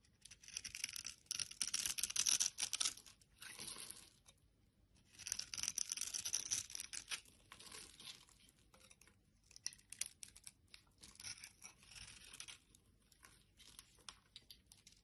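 A utility blade scrapes crumbly flakes off a solid teal bar of soap with a textured surface, held in the hand. Dry, bright scratchy crackling comes in two long, louder passes early on, then shorter, quieter scrapes follow in uneven bursts.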